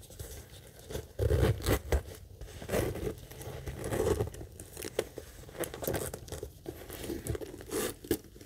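Long acrylic nails quickly tap and scratch the front of a small, hollow monogram coated-canvas mini backpack as it is tilted in the hands. The result is a fast mix of dull, low, hollow thumps and dry scratchy rustling, with louder bursts scattered among quieter scraping.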